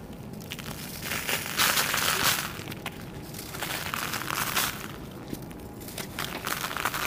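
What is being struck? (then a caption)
Dry sand-cement chunks. Bare fingertips grip flat, solid, dusty slabs of dried red sand-cement piled on a plastic sheet, crushing them and crumbling the edges into powder. The result is a steady run of dry, bright, gritty crunching and crackling, with louder bursts early on and near the middle as the pieces break apart.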